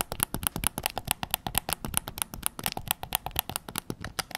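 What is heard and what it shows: Fingertips tap quickly on the front and back shell of a white PS5 controller made of hollow plastic. About thirty short, dry taps come in a steady, uneven patter, each a hollow, clicky knock with a bright top and almost no ring.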